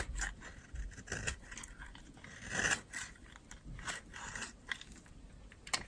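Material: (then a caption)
Soap. A metal utility knife blade scrapes along the edge of a solid, dry, yellow oval soap bar held in the palm, shaving off dry flakes. Short, crisp, crunchy scrapes come in uneven bursts with a bright, papery texture and almost no ring. Fine soap flakes come away with each pass.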